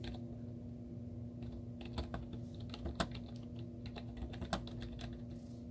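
Long teal-painted nails and fingertips tap rapidly on the hollow keys of a white plastic laptop keyboard with cartoon stickers on the keys. The result is a quick run of light, clicky keystrokes with a few sharper, brighter taps, all over a steady low hum.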